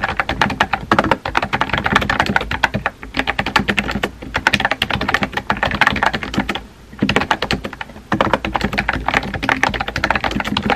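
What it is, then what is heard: Plastic mechanical keyboard. Fingertips with painted nails type rapid key taps on a compact pink plastic mechanical keyboard with a hollow body and round white-and-pink typewriter-style keycaps, resting on a desk. The dense, short, clicky clacks come in bursts with brief pauses around three seconds and between seven and eight seconds.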